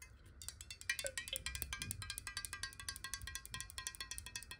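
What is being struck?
Glass water bottle.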